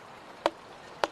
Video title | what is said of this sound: los herederos de stradivarius | El sonido es profundo, pero... no suena bien.